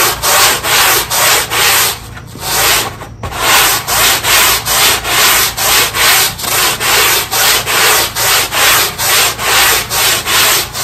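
A black push broom scrubs back and forth along the edge of a small, square, wet, ribbed synthetic carpet tile, a very dirty one left outside by the trash bin. Steady, rhythmic strokes of bright, hissy bristle scrubbing come roughly once a second, with a brief softer lull near the two-to-three-second mark.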